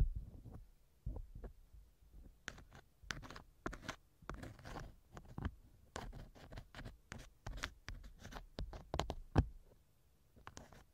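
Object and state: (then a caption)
Silicone ear model scraped with a wooden earpick. A thin wooden earpick scratches inside the left ear canal of a small hollow silicone ear model mounted on a binaural microphone. The result is a quiet run of irregular, muffled low-pitched rubbing and thumping scrapes, broken by short bright crackles. A slightly louder sharp click comes near the end before the scraping fades.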